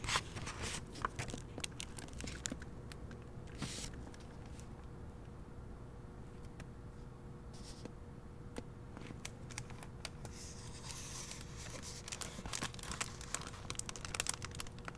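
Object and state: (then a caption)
Paper book pages. Paper pages of a hardcover book, open at the prologue, are turned and touched by fingertips with painted nails. Soft crinkles, rustles and light ticks are busiest at the start and end, with a quieter stretch in the middle over a steady low hum.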